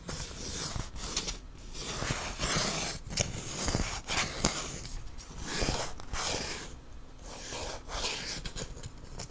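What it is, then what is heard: Wooden ruler. A long, thin, solid wooden ruler is held in both hands and rubbed and scratched along its length with fingernails. The result is a continuous, uneven broadband scraping texture with repeated short strokes that rise and fall in loudness.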